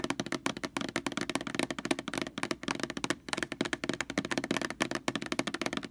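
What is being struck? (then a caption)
Large plastic laundry sanitizer jug. Long fingernails scratch and tap across the label of a large white plastic Lysol laundry sanitizer jug lying on its side. The result is a quick, steady run of dry, crisp plastic taps mixed with scratchy rustling. The taps carry a hollow midrange tone and stop almost instantly.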